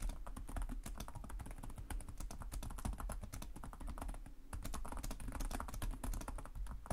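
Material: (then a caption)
Plastic. Fingertips with short nails type continuously on the plastic chiclet keyboard of a black laptop resting on a desk. The rapid, dense key taps produce short, dry clicks with bright edges over a steady low rumble, with no pauses across the whole clip.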